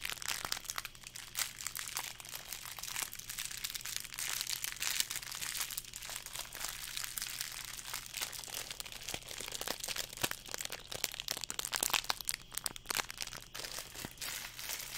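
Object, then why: Fortune cookie in a thin plastic wrapper. A small fortune cookie in a clear, thin, crinkly plastic wrapper is held in one hand beside the microphone and crinkled and squeezed with the fingertips, with the solid, crisp cookie inside. A dense, continuous stream of bright, sharp crackles and crunchy crinkles runs throughout, over a faint, steady low hum.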